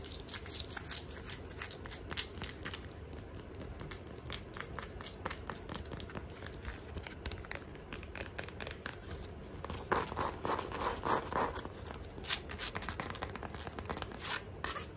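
Long nails tap and scratch a black rubber slide sandal held in the hand, working over the footbed, the strap and the sole edge. Fast, irregular clicks and dry scrapes come in a steady stream of short bright transients over a soft low rumble, with a denser, louder scratching burst around the middle.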